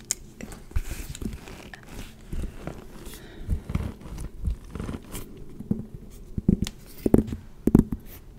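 Long red-painted nails tap and scratch the pebbled front of a small black leather Demellier Vancouver handbag with a gold metal clasp, held close to the microphone. Soft, dull low thuds and faint scratchy rustles come at an uneven pace, with the sharpest taps near the end.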